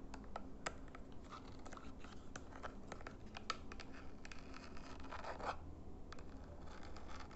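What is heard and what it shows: A small, flat plastic IR LED remote control is held edge-on in both hands while fingernails tap and scratch its plastic sides and buttons. The result is a steady stream of quiet, dry scratching and sharp little ticks over a low, constant rumble.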